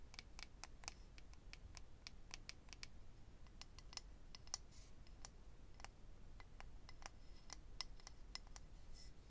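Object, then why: Small clear acrylic eyelash case. A small, hollow, rectangular clear acrylic eyelash case holding rows of lash strips is held in the hand and tapped and scratched with medium-length natural fingernails. Quiet, sharp, bright clicks and ticks come in an irregular stream, each dying away almost instantly, over a steady low background rumble.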